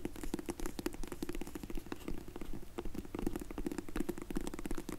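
Long nails tap rapidly on a closed, dark grey faux leather hard sunglasses case held in the hands. The result is a dense, uneven stream of quick, dull, hollow clicks with a low-mid tone, and each tap dies away almost instantly.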